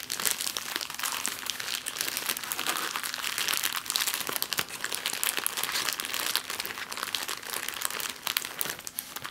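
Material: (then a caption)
Plastic. An empty clear plastic bag is crinkled in the hands, then flattened and crumpled on a table with the nails. The result is a dense, continuous, bright crackling with many quick, sharp snaps and almost no low end, steady in level throughout.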